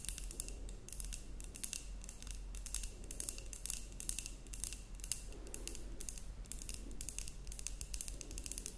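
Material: Glass.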